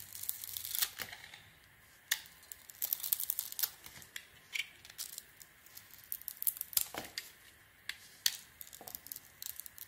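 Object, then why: Glitter-coated soap bar. A small metal blade shaves and carves the sparkly dark glitter coating off a hand-sized solid bar of soap with an embossed "fogal" logo, held in the hand, exposing the white soap underneath. The scraping and cutting make quiet, bright, crisp scratchy strokes in irregular bursts, with sharper peaks and almost no low end.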